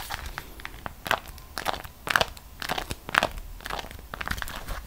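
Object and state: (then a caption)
Beeswax-coated cotton food wrap. A folded beeswax-coated cotton food wrap is held in both hands, bent and squeezed while long nails scratch its surface. The result is a series of irregular, bright crinkling and crackling bursts with short, dry snaps and no ringing.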